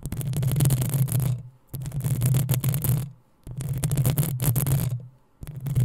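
Long nails scratch and tap the hollow metal mesh grille of a black desktop microphone. They make dense, crackling scrapes over a heavy low rumble, in four bursts separated by brief quiet gaps.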